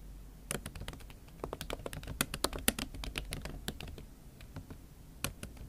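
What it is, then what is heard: Laptop keyboard with silicone cover. Fingertips and long acrylic nails type on a MacBook Pro keyboard covered with a pink silicone skin. About two dozen quick, irregular taps and clicks sound in a bright, crisp patter, each dying away almost instantly over a faint low background hum.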